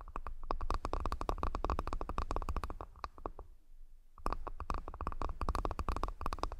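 A wooden accessory box is tapped repeatedly in quick, dry knocks with a low thump and a woody tone, each tap dying away almost instantly. The tapping pauses briefly just before the four-second mark, then resumes at the same rapid pace.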